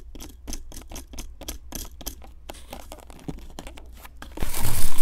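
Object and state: Plaster dig block being scraped.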